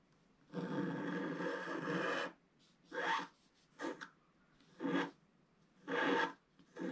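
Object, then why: Coated scratch art paper scraped with a wooden stylus. A wooden stylus scratches boats and waves into a black-coated scratch art page, about A4, lying solid and flat. A long dry rasping stroke is followed by a series of shorter, separate scratching bursts with quiet gaps between them. The scraping is broadband and gritty, with a mid-range body and bright, hissy upper edges.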